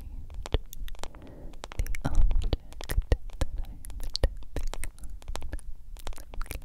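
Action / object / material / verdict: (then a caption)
tap / smartphone in a silicone case / silicone / none. A hand-sized smartphone in a yellow silicone case, held close to the microphone, is tapped and scratched with long acrylic nails. Quick, crisp clicks land over soft scratchy rubbing, with a deep, close-up thump under each tap.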